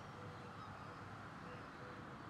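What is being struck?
Nothing is struck.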